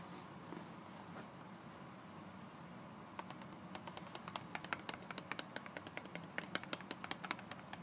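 Both hands tap and scratch a closed, empty-sounding Colgate toothpaste carton of thin printed paperboard, about 20 cm long, lying flat on a cardboard surface, using fingertips and short nails. For about the first three seconds there is a soft, steady scratching hiss, then a quick run of short, dry, crisp taps with no ring.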